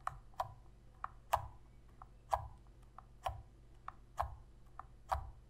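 Long red fingernails tap and click the face buttons and sticks of a hollow black plastic Sony PS3 controller held in both hands. Twelve short, dry clicks sound at an uneven, unhurried pace, alternating louder and softer. Each has a hollow midrange tone around 1 kHz with a brief bright edge and a faint low thump.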